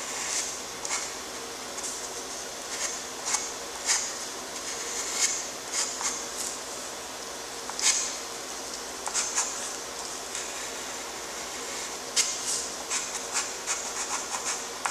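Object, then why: Graphite stick on drawing paper. A graphite stick held in a gloved hand scratches dense, dark strokes across a flat, lined, gray-toned drawing paper sheet. Short, bright, raspy scrapes rise in quick bursts over a steady high hiss, with no low-end body.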